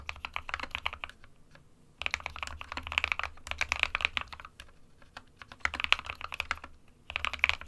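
Fingertips of both hands type on a small SK61 60% white plastic-cased mechanical keyboard with plastic keycaps resting on a desk mat. Rapid bursts of dry, bright, short clacks are separated by brief pauses, with a soft low thud under each burst.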